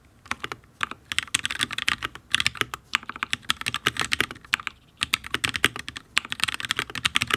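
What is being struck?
Mechanical keyboard with plastic keycaps on a steel plate.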